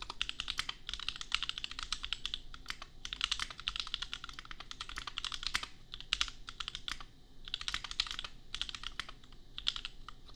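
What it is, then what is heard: Mechanical keyboard with plastic keycaps. Fingertips of both hands type fast on a compact $250 custom mechanical keyboard with Gateron Milky Yellow switches and red/pink plastic keycaps. Rapid bursts of bright, crisp clacking keystrokes are broken by brief pauses, and each click dies away almost instantly.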